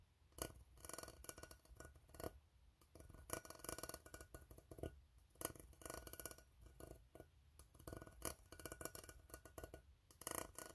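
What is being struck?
Ribbed steel tin can.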